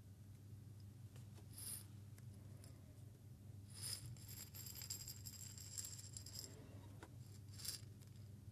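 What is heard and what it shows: A small, clear glass jar holding a little salt or seeds is held in both hands, with fingertips touching the glass, and tilted and shaken so the grains rattle against it. Bright, hissy rattling comes in short bursts near the start and end, with a longer shaken stretch in the middle, all over a steady low hum.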